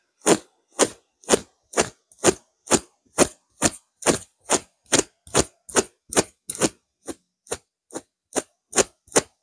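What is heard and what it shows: Fingertips and long nails from both hands scratch a soft, stuffed grey pillow with a coarse burlap-like weave and shaggy tufted lines. Twenty short, dry, bright scratching strokes come at about two per second in a slightly uneven rhythm, each one separate with almost no ring.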